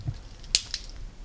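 A jar holding water and soil from a clay spot is shaken. Two faint, sharp clicks are heard as one or two pieces of sand or gravel rattle at the bottom. Only a little rattling comes through, showing the sample holds little gravel.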